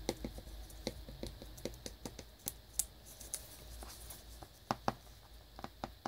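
A small cellophane-wrapped cardboard earbuds box, side panel, tapped with fingernails and lightly scratched with fingers. Quick, dry taps with very short ring are scattered irregularly among soft crinkly scratching over a low, quiet background.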